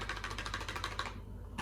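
A red cardboard playing-card box that should be empty after the deal is shaken, giving a quick run of light tapping rattles from a single card inside, about ten clicks over under two seconds with a low steady hum beneath. The box is then opened to reveal one card, the nine of Spades.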